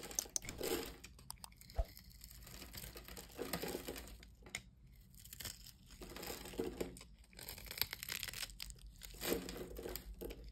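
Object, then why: Bar of soap cut with a metal blade. A small, solid, orange-and-yellow striped soap bar held in the hand is scored and shaved into cubes with a metal utility-knife blade. Dry scraping swells into bursts of crisp crunching and crinkling as the blade cuts through. Brief sharp snaps are heard where pieces break away.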